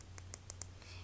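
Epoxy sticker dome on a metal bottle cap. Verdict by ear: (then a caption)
Hard. Four sharp, bright clicks come from tapping on a hard epoxy sticker dome placed over the paper in a flattened metal bottle cap. The clicks show that the sticker is hard. A low steady hum runs underneath.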